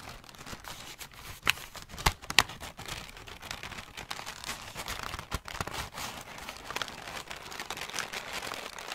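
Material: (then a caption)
Paper. A large crumpled sheet of light grey-brown paper, balled up hollow and loose and held in both hands, is squeezed and crinkled with the fingertips and long nails. A steady, bright, dry crinkling runs throughout, broken by a few sharper, louder crackles near the two-second mark, with little low-end weight.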